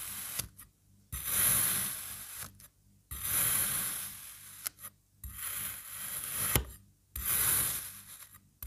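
A black serrated knife cuts down through a solid, molded, palm-sized red kinetic sand crab in slices. Four long strokes are heard, each a gritty, bright, rasping crunch that starts with a soft thud and fades out. There is short silence between cuts.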